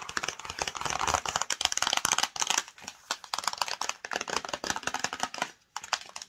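Long nails rapidly tap and scratch the front and edge of a flat, hollow black and yellow printed cardboard UniqueMe screen protector box held in the hands. The result is a dense stream of dry, bright clicks and scratchy rustles with almost no low end and no ringing. It pauses briefly near the end before a few final taps.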